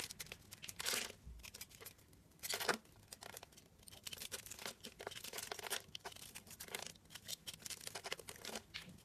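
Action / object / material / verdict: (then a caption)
scrape / bar of soap / soap / none. A metal blade scrapes small cubes off a solid rectangular bar of soap with blue and white diagonal stripes, its surface pre-scored in a grid and held in hand. Crisp, bright scraping and crumbly crunching come in short bursts, with faint flakes pattering between strokes.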